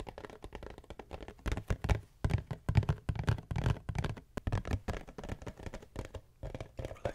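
A hollow, printed cardboard tissue box is tapped and scratched with long nails close to the microphone. Quick, irregular taps give dull, low, hollow thuds that die away at once, mixed with soft, dry scratching.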